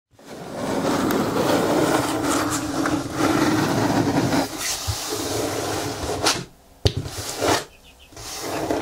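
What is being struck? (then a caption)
Corrugated cardboard box. Fingertips and nails scratch and tap the top and front of a medium, closed, hollow brown corrugated cardboard box resting on a table. Steady, dry, broadband scratching runs for about six seconds, then briefly drops away. A sharp, hollow tap follows, then another short burst, before softer scratching resumes.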